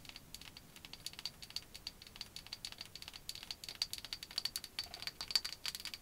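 Long white acrylic nails tap and scratch along a small hollow bamboo cylinder, possibly a cosmetic case or handle, held in both hands. A quiet, rapid run of dry, bright clicks with a high, thin edge and almost no low end, each tap cutting off instantly, with soft scraping between them.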